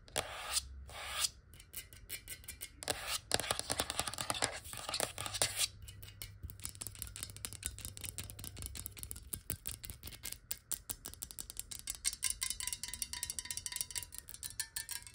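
Long nails tap fast on a clear glass water bottle with water inside, held in both hands. The result is a rapid stream of sharp, bright clicks with a little low rumble underneath. The taps are so dense they run together into a continuous rattling texture.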